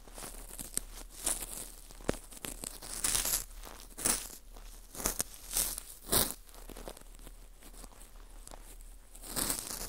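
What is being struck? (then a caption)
Dried baked wheat gluten ring rubbed with a cotton swab. A cotton swab rubs inside the hole of a small, hollow ring of dry, porous baked wheat gluten (fu) held in a gloved hand. Soft, bright scratching and crinkling fill the clip, broken by sharp crackles and louder crunchy bursts that recur throughout.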